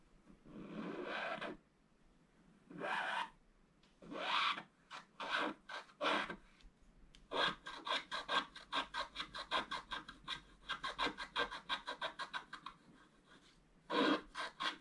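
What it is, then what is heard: Scratch-art paper card. A wooden stylus scratches along the lower edge of the picture on a black-coated scratch-art card held flat by one hand. A few long, dry rasping strokes give way to a quick run of short scratches, then one last stroke.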